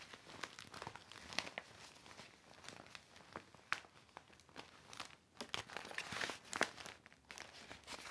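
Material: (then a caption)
Vinyl plastic. A large, deflated, hollow silver and clear vinyl inflatable mat with orange, green, blue, pink and yellow stripes lies flat on carpet while it is wiped with a cloth and pressed and rubbed by hand. The plastic gives a steady stream of quiet, bright crinkles and crackles with sharp, short-lived peaks and almost no low end.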